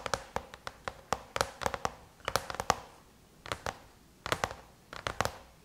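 Long chrome-painted nails tap rapidly on the closed silver aluminum lid of a MacBook. About 22 sharp, bright metallic clicks come in quick clusters separated by short pauses, each with a faint ringing tone that dies away almost instantly.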